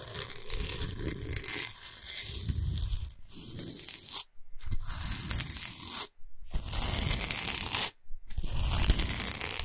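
Long pointed nails scratch fast across the smooth top of a large, flat, square slab of solid pink-white Himalayan salt lying flat. The result is a dense, bright, rasping scrape with a low rumble beneath, broken by three brief silent pauses.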